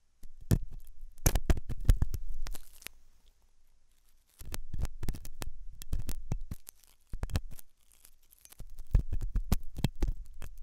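A hooked metal dental tool scratches inside the ear canal of a white translucent silicone ear model made of soft solid rubber, possibly mounted on a binaural ear microphone. Close, deep scraping and scratching comes in bursts, with brief sharp ticks and a low rumble separated by short quiet gaps.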